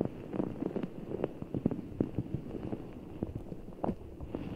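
A full, giant orbeez ball, a large soft ball of blue water gel beads in a clear rubber skin, is held over the mic and squeezed with fingertips. It makes a steady run of soft, wet squelches and muffled clicking pops over a low, rustling bed. The sound is mostly low-mid with no bright top.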